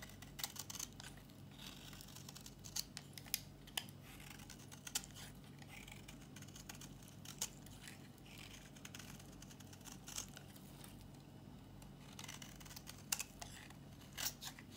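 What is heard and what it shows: A solid, dry pink bar of soap held in the palm is shaved with a metal box-cutter blade. Quiet, crisp scraping clicks and short bright shaving strokes come in irregular bursts over a steady low hum.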